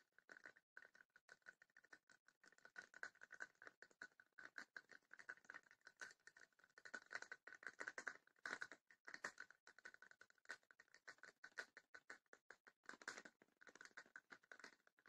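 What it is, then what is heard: Wooden chest with woven rattan panels. Long painted nails tap and scratch the sides of a small, closed, hollow wooden chest with woven wicker/rattan panels and a metal latch. The result is a quiet, steady stream of rapid, dry clicks and scratchy patters centered around 1.5 kHz, with a bright edge, no low end, and almost no ring after each tap.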